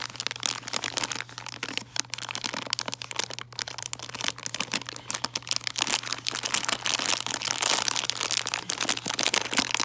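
A printed plastic bag of about 142 g, filled with foil-wrapped and bare milk chocolate Santas, is crinkled, scratched and tapped with long dark-painted nails and fingertips. The result is a dense, bright crinkling texture full of quick, sharp crackles and taps that die away instantly, with a faint steady low hum underneath.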